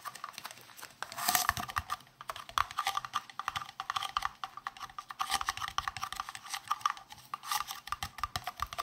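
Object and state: Plastic round case.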